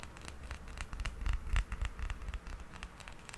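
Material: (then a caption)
Plastic. A small, solid, hard plastic toy hippo figurine, held in the palm, is scratched with fingernails along its back and sides. Quick, irregular scraping strokes give bright, dry scratches over a soft low rumble from the handling, each stroke ending almost at once.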